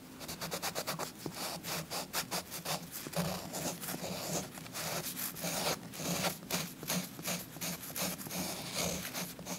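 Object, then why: Chalk stick on a paper page over soft cloth. A purple chalk stick is rubbed and scratched in steady strokes over a paper coloring book page resting on a soft cloth. The result is a continuous, dry, gritty scratching with bright, airy hiss and a quick, rhythmic pulse as each stroke rises and falls.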